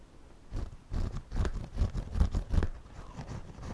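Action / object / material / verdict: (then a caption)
scrape / woven straw hat brim / straw / none. A pencil draws and scratches across the front brim of a white wide-brim woven straw floppy hat worn on the head, while the other hand steadies it. It makes a series of dull, low, scratchy strokes in quick uneven bursts. The strokes grow fainter toward the end.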